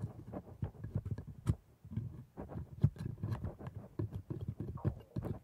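A steel scaler in a blue-gloved hand scratches and scrapes between and along the plastic teeth of a dental model with red gums. The result is a quick series of soft, muffled, low scraping clicks and taps that die away almost at once, with little brightness.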